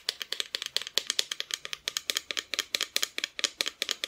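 Close-up tapping on a wooden Santa Christmas decoration. About 27 quick, light taps come in an uneven, rapid rhythm, each a dry, bright click with no ring.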